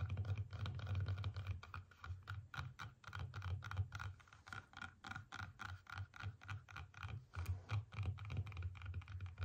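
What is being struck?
Whole apple.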